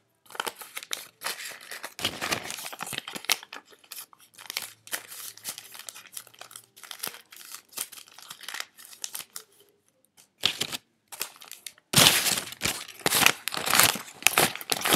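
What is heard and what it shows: A stack of crumpled paper US dollar bills is held in both hands while the fingertips rub, crinkle and leaf through them. The result is dense, bright, dry crinkling and rustling in irregular bursts with brief silences, and the crinkling grows louder and fuller toward the end.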